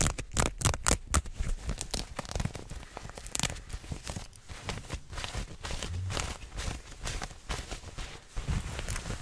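Long nails rapidly scratch a soft mauve-pink stretch fabric, like leggings, pulled taut close to the microphone, with fast hand motion. Dense, irregular bursts of crackly, tearing-like rasps with bright hiss and a heavy low rumble from the close handling run throughout.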